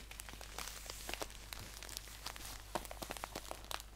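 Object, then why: Paper tea pouch. Fingertips crinkle and squeeze the top of a green paper tea pouch held upright. Dense, quick, dry crackles and crunches with bright edges sit over a faint steady low hum, each snap dying away almost instantly.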